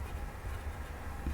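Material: Nothing is struck.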